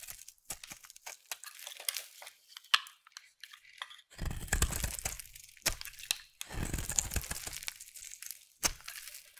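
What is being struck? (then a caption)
Soap bar shaved with a knife blade. A solid purple bar of soap held in the hand is scraped into curls with a utility knife blade. A run of dense, crisp crunching and scraping strokes follows, bright and fine-grained, with heavier, fuller passes in the middle and latter part.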